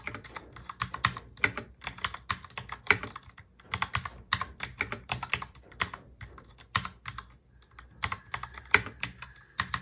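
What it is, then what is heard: Plastic mechanical keyboard being typed on. Both hands steadily touch-type on a full-size black mechanical keyboard with plastic keycaps, fingertips tapping the keys. The result is a quick, continuous stream of crisp, bright clacks, each dying away almost instantly, with a few brief pauses between bursts.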